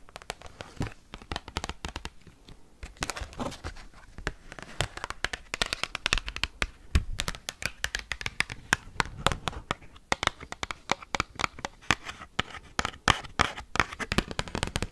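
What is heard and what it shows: Metal paperclips worn on the fingers rapidly tap and scratch an oversized thin cardboard Pokemon trading card. Dense bursts of sharp, dry clicks mix with crackly scratching that reaches high, bright tones, each tick dying out instantly. The result is a fast, busy clatter with no speech.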